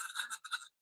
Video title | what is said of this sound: Stabby AF Saturdays! 🔪 My NEW CUSTOM Knife + Wild Prototype + New Ketuos! - EDCwithDBD Live | So, I decided to check the G10 and it feels and it sounds plasticky.